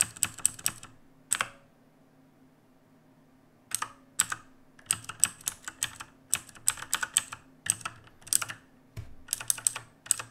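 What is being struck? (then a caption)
Mechanical keyboard with plastic keycaps. A black mechanical keyboard with plastic keycaps and a dim backlight sits on a wooden desk while fingertips of both hands type steadily across it. Bright, sharp clicks arrive in quick bursts, with a pause of about two seconds early on before the typing resumes. Each keystroke is crisp and dry, with almost no ring and little low-end weight.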